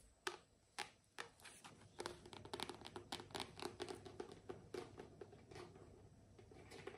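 Long nails tap and scratch the paper cover and spine of a solid pink paperback book, "You Can Heal Your Life." A few spaced, sharp, dry taps give way to a denser run of quick tapping and scratching. The sound is quiet, with crisp clicks that stop almost instantly.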